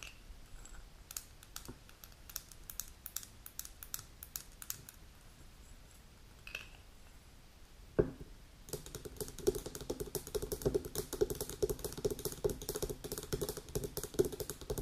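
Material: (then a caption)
Glass. Long pink natural nails tap and scratch a small dark amber glass Oceanic Silicio supplement bottle with a gold metal screw cap and paper label, apparently filled with capsules, as it is held and set on a table. Sparse, soft clicks and scratches give way after a knock at about eight seconds to dense, rapid tapping with short, bright glassy pings around 430 Hz.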